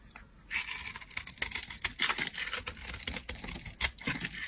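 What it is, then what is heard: Dry soap bar being carved. A solid, palm-sized, pale beige stamped bar of dry laundry soap is held in the hand and carved and scraped with a small metal blade, with flakes falling away. After a quiet start, a dense run of bright, dry scraping and crisp shaving sounds begins, with short, sharp cuts close together and almost no low end.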